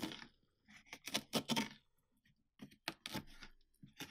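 Fingertips scrape and rub the inner flesh wall of a large, mostly emptied orange pumpkin with an open top, while the other hand holds the rim. The sound is a series of short, quiet, crackly scraping bursts with bright, wet-sounding texture and little low end, separated by near silence.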